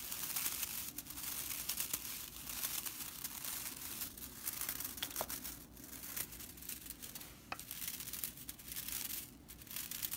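Long purple-nailed fingers part and scratch the dry bristles of a broomcorn straw whisk broom with red stitching lying on a wooden table. The result is a continuous, bright, dry crackling and rustling rattle that swells and fades in waves, with quick crisp snaps.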